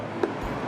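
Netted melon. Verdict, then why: Ripe. A netted melon in the field is knocked once to test whether it is ready to harvest, giving a short, clear knock centred around 360 Hz over steady background noise. The ripe, firm, intact melon rings clear, a sign it is ready to harvest, along with its pale underside and fragrant aroma.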